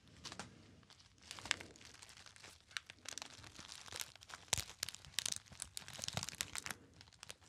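A small, hollow, apparently empty gold metallized foil pouch is crinkled by fingertips. It makes dense, bright crackling and crisp crunches in quick, irregular bursts. A few sharper snaps stand out, and each one dies away almost at once.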